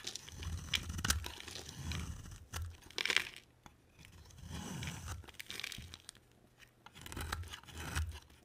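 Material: Soap.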